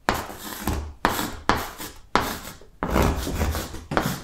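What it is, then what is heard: Chalk writing on a blackboard. Yellow chalk writes the alphabet across a large, flat green chalkboard. It makes continuous dry scratching in seven separate strokes, each starting with a sharp attack and trailing off in rough friction.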